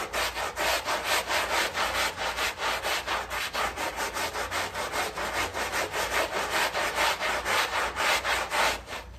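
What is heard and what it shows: A gloved hand scrubs a small, wet, heavily dirty and muddy fabric rug sitting in soap foam on a tile floor with a white hand brush, using quick back-and-forth strokes. The result is a steady, rhythmic run of bright, hissy scrubbing swishes, about two per second, with a soft wet rasp under each stroke.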